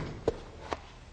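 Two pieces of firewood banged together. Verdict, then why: Wet. Two pieces of wet firewood are banged together twice, giving two short, dull thuds with almost no ring. The dull sound shows the wood is wet; dry wood would sound hollow.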